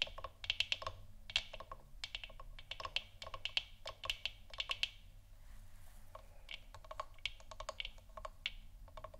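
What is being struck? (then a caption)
3D-printed plastic moon lamp sphere. Fingers and nails tap the sides of a large, hollow, 3D-printed plastic moon lamp sphere that is lit orange. The taps come in quick, irregular clusters of dry, bright clicks centered around 3 kHz that die away almost instantly, with a short lull partway through. A faint, steady low hum sits underneath.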